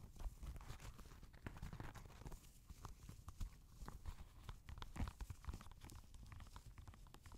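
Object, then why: Knit fabric sneaker. A grey Adidas NMD knit-fabric sneaker lies empty on a lap while fingertips tap and scratch its knit upper and laces. The result is a steady run of soft, dull, low thumps with brief scratchy brushing between them, and the taps stop short with almost no ring.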